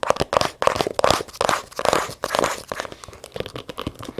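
A small brown leather zippered case is held in the hands and tapped and scratched with long nails on its leather surface. Quick, irregular dry taps and crinkly scratching sweeps follow one another with no ringing.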